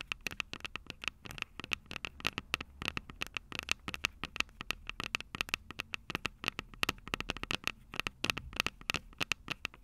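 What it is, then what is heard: Fingernails tapping a recorder's microphone heads. Long purple nails rapidly tap and scratch the two silver metal mic capsules on a Tascam DR-05 recorder with a plastic body. The result is a dense stream of sharp, bright clicks with a faint ring near 2.7 kHz. Soft scratchy crackle and a low steady hum sit underneath.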